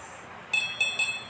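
A branded Hoya crystal glass, heavy in the hand, is clinked three times, each strike giving a bright, clear ring with a high pitch near 2.6 kHz that decays over about half a second. The tone is that of real crystal glass.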